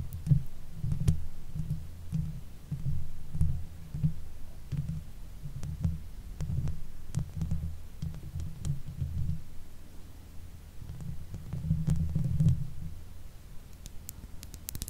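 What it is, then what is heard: Metal mesh microphone grille being scratched. Long nails of both hands scratch the sides and top of the hollow domed metal mesh grille on a silver Blue Yeti microphone. The scratching comes through as soft, muffled thumping and rumbling almost entirely in the low range, in uneven bursts with faint sharp ticks on top.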